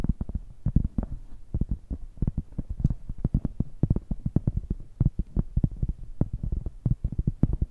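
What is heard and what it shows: A large, round, flat, solid cork coaster held in both hands is tapped and scratched with long nails and fingertips. It gives a rapid, irregular run of dull, low, muffled taps with no ring, mixed with soft scratching.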